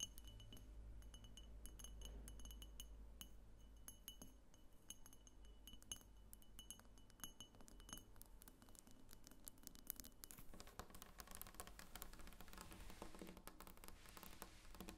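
Long nails tap rapidly on the sides of a medium pink frosted glass diffuser lamp with a clear glass base, which seems to be hollow. The taps make many quick, bright, dry glass clinks over a steady low hum. The tapping grows denser and brighter in the last few seconds.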